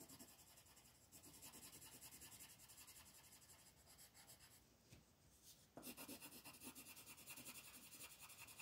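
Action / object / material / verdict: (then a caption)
scrape / colored pencil on a paper page / paper / none. A black colored pencil is stroked and rubbed back and forth across a flat paper coloring page on a table while filling in shapes. It makes a steady, bright, scratchy rasp of quick repeated strokes. The strokes ease off and go quieter for a moment before returning louder and firmer.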